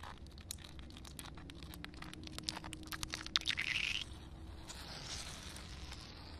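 Long painted nails tap and scratch on a solid concrete slab under a shallow film of water, making quick, irregular, bright clicks over a low background rumble. A louder, sustained scrape swells near the middle and cuts off, followed by a softer, hissing scratch that fades out.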